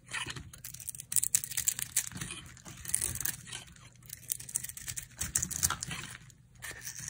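A dry, solid soap bar with a yellow coating and a white interior is held in the hand while brittle chunks are carved off it with a utility knife blade. The cuts make a rapid series of crisp, bright scraping and crumbling sounds with a faint low rumble underneath.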